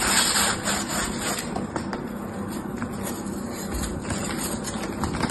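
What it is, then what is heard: Dry floral foam being shaved. A palm-sized block of dry green floral foam, scored into a grid of small cubes and held in one hand, is scraped by the blade of an orange utility knife that shaves the cubes off. The sound is a steady, crisp, gritty scraping and crumbling with a bright hiss on top and a low rumble beneath. Faint clicks pop through as the cubes break away.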